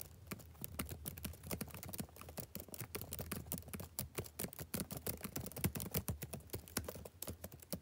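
Fingertips type rapidly on the keys of a backlit plastic laptop keyboard, producing a dense stream of short, crisp clicks and taps. Each tap dies away almost instantly, with a steady low hum underneath.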